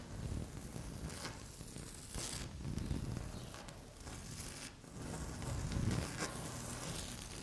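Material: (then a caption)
Laminate. Long fingernail tips scratch across a flat, solid, speckled beige laminate tabletop, making dry, rasping scrapes with a low rumbling body and brief high, bright streaks. The strokes come in irregular waves with no clear separate hits.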